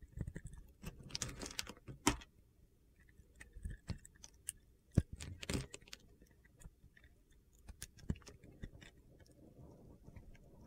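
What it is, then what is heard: Bar of soap being carved. A solid pale blue bar of soap held in the hand is shaved and carved along its edge with a metal utility-knife blade. Quiet, irregular crisp scraping and crunchy cutting sounds follow one another, with a few sharper clicks as pieces come away.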